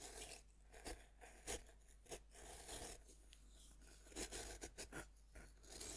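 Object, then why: Pressed-powder bath bomb scraped with a metal knife tip. A thin metal knife tip scratches and scrapes the powdery surface of a fist-sized, solid pink pressed-powder bath bomb, held by one hand as it rests on a wooden board. Quiet, dry, gritty scraping is broken by short, bright, crunchy scratch bursts over a faint, steady low hum.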